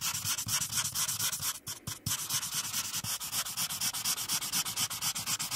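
A marker's felt tip, held in a hand with long decorated nails, is rubbed back and forth over a printed paper coloring page lying flat on a dark clipboard to color in the teal background. Rapid, bright, scratchy strokes repeat at a steady brisk pace, with a short pause a little past the middle of the clip before they resume.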